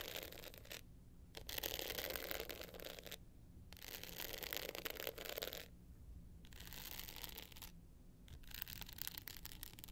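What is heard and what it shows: Long nails scratch and scrape across the navy glitter face of a small, hollow hard-shell clutch with a gold metal rim. Bursts of dry, bright, gritty scratching come in several passes, separated by brief quiet pauses. A faint low hum runs underneath throughout.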